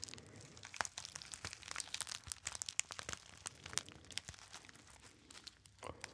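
Fingertips crinkle a small, hollow, apparently empty gold metallized foil pouch with a label. A dense run of sharp, bright crackles and crunches is heard, mostly high with very little low end, each snap dying away almost instantly.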